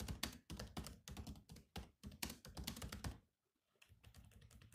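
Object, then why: Plastic laptop keyboard keys. Fingertips type continuously on a silver laptop's black plastic keys, giving quick clicky taps with a low thump under each press and a bright click on top. The typing runs steadily, pauses briefly near the end, then resumes more softly.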